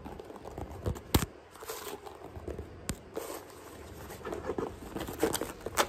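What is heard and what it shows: Long nails tap and scratch a single hollow white sneaker held in the hand, first across the upper and then along its thick white rubber tread sole. Quick, dry taps with a few sharper clicks mix with rough, crinkly scratching that has a low thud underneath and a faint steady high hiss throughout.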